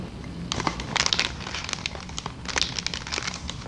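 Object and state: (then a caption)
Plastic air cushion packaging. A large, clear, air-filled plastic air-column packaging sheet is held in both hands and squeezed, crinkled and tapped with long dark nails. The result is a run of bright, crisp crinkles and sharp clicking taps that fade quickly, with a faint low rumble underneath.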